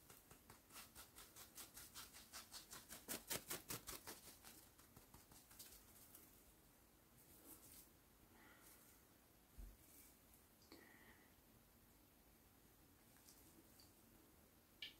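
Fingertips tap and scratch a whole brown coconut, hand-sized, still covered in its hairy fibrous husk over a solid hard shell, held in the hands. A steady run of about 22 soft, dry taps fills the first six seconds, peaking around the middle. Quieter, bright scratching of the fibres follows, with a few scattered louder taps.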